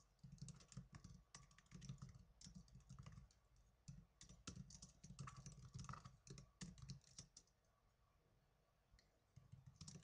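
Fingertips with blue nails type fast on the plastic keys of a small black plastic netbook. Rapid, irregular clicks carry a soft low thump and a bright tick. The typing pauses briefly near the end before resuming.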